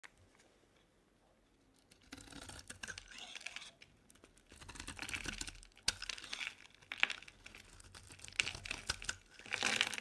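A dry, solid, hand-sized purple Palmolive bar soap, held in the hand, is scraped and shaved with a metal utility knife blade, peeling off shavings. Bright, crisp scraping and tearing-like rasps come in bursts with short quiet gaps between strokes.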